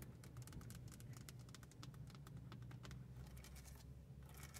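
Long nails tap and scratch on the hollow, hard plastic face of a car stereo with buttons, mounted in the centre console. Quick, bright clicks and scrapes come in an irregular patter over a steady low rumble, each tap dying away almost at once.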